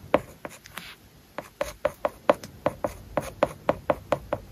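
A plastic stylus writes characters on an iPad lying flat, covered with a matte paper-like plastic film. It makes a steady run of short, dry taps and brief scratches, each with a light clicky tone around 600 Hz and almost no ring.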